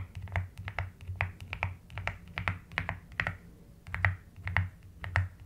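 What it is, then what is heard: Plastic mechanical keyboard being typed on. Long almond-shaped nails and fingertips type on a full-size plastic mechanical keyboard with a white case and pastel pink, white and lilac keycaps, resting on a desk. A quick, uneven run of short, dry key taps pairs a bright clack with a deeper thock, each one dying away almost at once. A steady low hum sits underneath.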